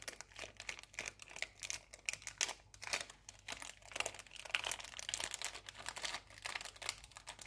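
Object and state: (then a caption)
Foil cookie wrapper crinkling. A small metallic foil wrapper with a cookie inside is crinkled and rubbed between fingers and nails. The result is a steady, quiet stream of bright, crisp crackles and rustles, with almost no low end and each crackle dying away instantly.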